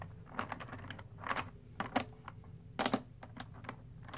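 Fingertips riffle and stack a handful of black and white plastic composite poker chips, solid discs, over the box. Rapid, bright clicks come in uneven clusters, with louder clacks around the middle and near the three-second mark over a quiet low hum. Each click is short and dry, with almost no ring.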